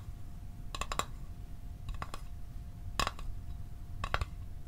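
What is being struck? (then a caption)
Small metal mint tin. A small hollow metal Altoids mint tin is held near the mic and tapped with the fingertips and nails. The taps come in quick clusters of bright, short metallic clicks with a brief ring around 1.1 kHz. A low rumbling background and a faint steady hum sit underneath.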